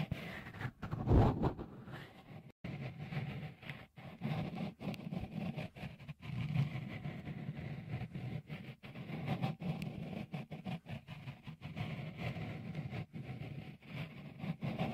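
Fingertips rub a small, hollow, white dimpled microphone cover, likely silicone, fitted over the left capsule of a Tascam recorder. The result is a steady, muffled low rumble of rubbing and scuffing, with a louder bump near the start and many brief dips throughout.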